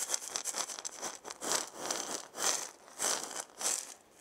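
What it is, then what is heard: Wooden maraca being shaken. A hand with long nails shakes and turns a hollow, hand-sized round wooden maraca with a wooden handle and a burned zigzag pattern. It gives quick, uneven bursts of bright, crisp rattling at first, then slower swells of hissy shaking that rise and fade. The sound is high and airy with almost no low end.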